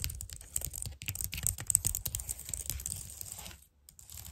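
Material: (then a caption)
Plastic. Long nails tap, click and scratch across the keys of a white plastic computer keyboard, making quick, dry, bright clicks over a soft low rumble. The rapid, uneven taps run close together for about three and a half seconds, then drop into a brief silence before a few quieter clicks resume.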